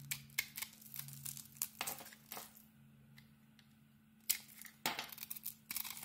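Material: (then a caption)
Soap. A small metal blade scrapes and carves flakes off a rectangular solid soap bar with a pink glitter coating and embossed lettering over a cream core, held by a hand with red nails. Crisp, bright scraping and crackling bursts come in quick strokes, with a quieter lull in the middle before the cutting resumes. A faint steady low hum runs underneath.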